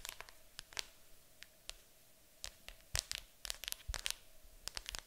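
Long acrylic nails tap and scratch on top of a large, hollow, printed cardboard board game box. The result is a quick, irregular series of sharp, bright clicks and dry scratching sounds over a quiet background. Each tap dies away almost instantly.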